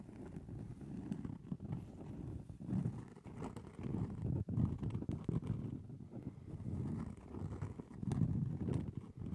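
Long nails tap and scratch across the surface of a round, solid cork trivet held in both hands close to the microphone. The sound is a soft, dense, muffled patter of dull low thuds and rustling scrapes with almost no bright edge, each contact dying away almost at once.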